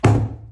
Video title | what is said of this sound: #construction #woodwork #sharpmind #crafts #fyp | it sounds hollow back there and it shouldn't